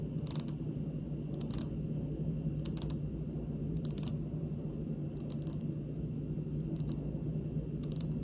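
Long pink nails on both hands tap a large, solid, speckled granite kitchen countertop in slow, short clusters. Each tap is a dry, bright click that dies away instantly, over a steady low background hum.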